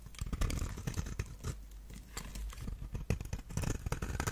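A knife blade scrapes and shaves curls from the surface of a palm-sized, solid lilac-purple rectangular bar of dry soap held in one hand. Rapid, crumbly crackling scrapes come in dense bursts, heavy in low, muffled tones with little brightness. They ease briefly midway before picking up again.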